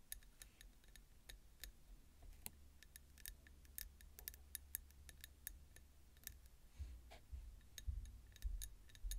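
A small ribbed peach ceramic bowl full of roasted pumpkin seeds, resting on a bamboo plate, is tapped and scratched along its ridged outer wall by long nails. Quiet, irregular, bright clicks and ticks repeat throughout over a low rumble that swells near the end.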